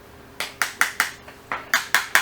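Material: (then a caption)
Metal. While refitting a Simu roller-shutter motor, the limit-switch head assembly is knocked back into the metal motor tube with eight sharp, bright metallic knocks, each ringing briefly around 1.6 kHz. The clear ring shows the head has reached its stop and is fully seated, as it should be.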